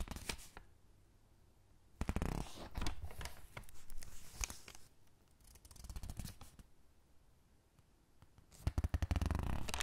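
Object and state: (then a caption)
Paper catalog pages rubbed and turned. Palm and fingertips rub and press the thin, crinkled pages of an open paper catalog flat, then turn a page. Soft crinkling, rustling and brushing come in bursts separated by near-quiet pauses, with sharp, bright crackles of paper at the louder moments.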